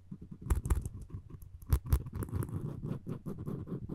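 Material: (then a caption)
Wood. Floss string wrapped around the handle of a solid wooden spoon is rubbed back and forth against it. The result is a soft, muffled, low rubbing patter, broken by a few louder, brighter scraping strokes near the start and middle of the clip.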